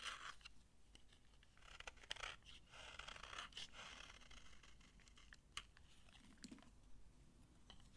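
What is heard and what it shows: A solid, dry green soap bar is held in the hand while fingers crush its crunchy shavings and a knife scrapes across the bar. The result is dense, dry crunching and scraping with many sharp clicks over a faint background hiss, mostly bright with some low rumble.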